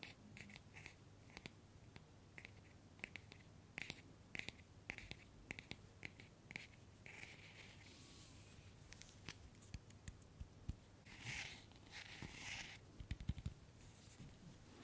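Long nails tap and scratch the head of a small hollow PVC vinyl Funko Pop figure of Harry Potter held close to the microphone. Quick, dry, bright clicks come in irregular runs, broken by longer hissy scratching bursts, over a faint steady low hum. The sound stays quiet and close throughout.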